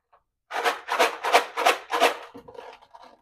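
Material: Rocks.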